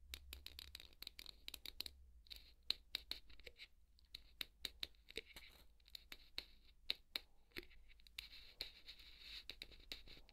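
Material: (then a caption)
Polystyrene foam. A wooden skewer held in the fingers scratches a large white solid polystyrene foam ball. The result is a quiet, irregular run of dry, bright scratches and sharp crackling ticks, with a faint high squeak under the scraping strokes.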